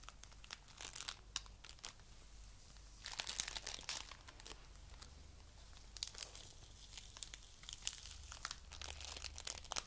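A soft handful of coral-pink foam clay made of tiny polystyrene beads is squeezed and kneaded with the fingers, giving off quiet, dense, crunchy crinkling full of sharp, bright crackles. The crackling swells into busier bursts around three to four seconds and again later, over a faint low hum.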